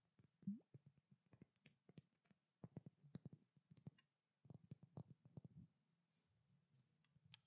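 A pink glass perfume bottle with a silver cap, held in both hands, is tapped with long nails in quick, irregular bursts. Each tap gives a soft, low knock around 200 Hz with a short bright click on top, dying away quickly. There is a brief pause near the middle, and the tapping grows sparse and faint toward the end.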